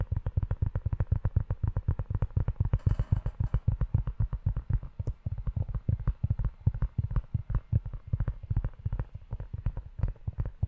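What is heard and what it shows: Fingertips tap and rub the front cover of a closed, dark brown leather-bound notebook held in one hand. A steady stream of quick, dull, low thumps runs throughout, with a brief brighter rubbing texture near the three-second mark. Each tap dies away at once, with no ring.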